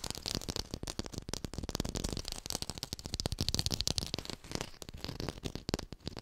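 A textured artificial plastic lime is fast-tapped and recorded with a hi-fi microphone. The result is a dense, continuous run of rapid, dry tapping clicks with a soft low thump under a bright, crackly top, each tap dying away almost instantly.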